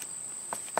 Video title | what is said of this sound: The Cause Of Your Summer Allergies - Giant Ragweed | the stem, because it's very stiff and almost woody, you can hear, you know, when I flick it, it kind of sounds like wood